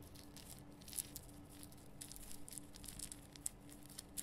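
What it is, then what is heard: Himalayan rock salt lamp. Long nails scratch and tap the top and sides of a large, rough, glowing pink Himalayan rock salt lamp carved from a solid salt block. A low, steady scraping texture is broken by sharp, bright, dry ticks and clicks that die away almost instantly. A faint steady hum sits underneath.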